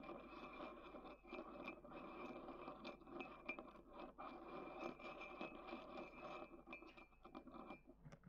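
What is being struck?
Ceramic mug and wooden stick.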